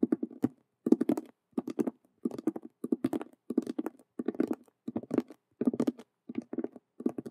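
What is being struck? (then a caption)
Faux leather cube-shaped handbag. A hollow faux leather handbag shaped like a Rubik's cube, with stitched colored vinyl squares, is tapped and scratched fast by both hands with long nails. Quick bursts of dry, papery clicks and scrapes come in rapid clusters with short pauses between them, mostly in the low mids with little ring.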